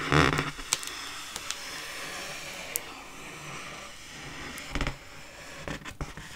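Long fingernails scratch and scrape across the taut metallized film of an inflated, hollow, round Frozen-themed mylar foil balloon about 40 cm across, held in the other hand. A soft, steady hiss of rubbing runs throughout, broken by sharp, bright crinkly clicks and a louder, crackly scrape near the start and again toward the end.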